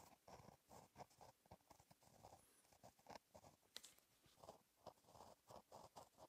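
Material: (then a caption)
Paper. A gel pen tip scratches across a flat black lined paper notebook page while writing cursive. Quiet, papery scratching comes in short bursts with brief pauses between strokes, centered in the mid range with a faint high hiss and one sharp bright tick partway through.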